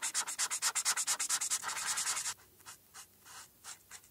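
A marker nib scrubs back and forth on a flat paper coloring sheet, coloring in a black hat and stripes, held by a hand with long red nails. Rapid, bright, scratchy strokes blur into a steady rub for about two seconds, then give way to a few softer, sparser strokes.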